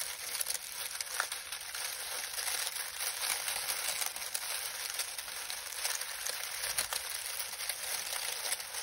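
Fingertips of both hands squeeze and rub a pile of dry lemon balm leaves, crumpling them. The result is a steady, dense, bright crinkling and crackling with small sharp peaks throughout and almost no low end.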